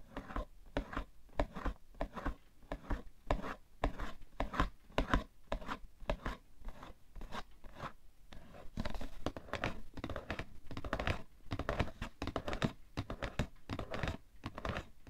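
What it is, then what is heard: Cardboard tissue box. Fingernails tap rapidly on the top and sides of a cardboard tissue box, making a steady stream of short, dull, hollow knocks. Each tap dies away almost instantly, and the sound is mostly low and thuddy with little bright edge.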